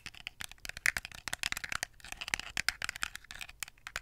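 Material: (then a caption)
Plastic. Long acrylic nails tap and scratch rapidly across a small hollow plastic toy phone with a decorated, gem-covered back, held in both hands close to the microphone. The result is a quick, dense run of sharp, dry clicks and brief scrapes, bright and crisp with almost no low end and no ring after each tap.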